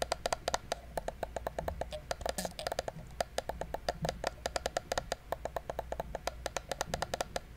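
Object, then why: Plastic computer mouse. A small, hollow black plastic gaming mouse is held close while fingertips click and tap its buttons. The result is a rapid, uneven run of short, dry clicks, each with a hollow tone around 690 Hz and a bright snap that dies away almost instantly, over a faint steady low hum.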